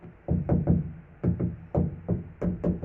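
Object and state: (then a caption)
Truck cab roof, deadened after sound-deadening mat. Ten knocks land on the middle of a second-generation Ram truck's steel cab roof after rubber sound-deadening mats have been applied to stop its reverberation. Each knock is a dull, low thud around 176 Hz, with nothing bright in it. The thuds die away quickly with little ring, as expected once the mats are on.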